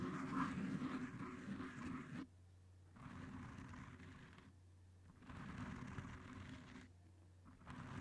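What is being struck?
Cohesive fabric tape wrapped on a microphone.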